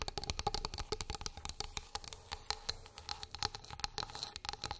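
Long pink acrylic nails tap and scratch a flat, light, solid wooden plate or board lying on a fluffy rug. A quick, uneven run of short, dry, bright clicks and taps sounds with no ring, mixed with soft scratchy rasps between them.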